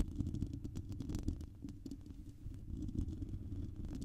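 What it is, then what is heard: Metal mesh microphone grille being scratched. Long painted nails of both hands scratch directly across a hand-sized, hollow, silver metal wire-mesh microphone grille. The result is a dense, muffled, low rumbling scrape, layered with quick crackly ticks that flick up into brighter tones. It swells and dips slightly over the few seconds without stopping.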